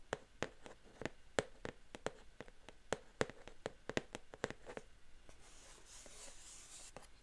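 Long painted fingernails tap and scratch the glossy front of a LEGO Wicked set box, a flat, roughly square printed cardboard box held in both hands. The box is hollow and contains pieces. About twenty quick, sharp, crisp taps ring out over the first five seconds, then give way to a softer, hissy scratching across the surface.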